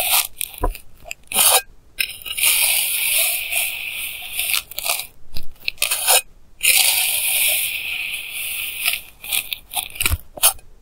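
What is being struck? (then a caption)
Kinetic sand cut with a plastic knife. A clear plastic knife edge cuts repeated lines through a flattened mound of pink kinetic sand. Bright, gritty scraping and soft crunching come in short strokes and two longer sustained drags.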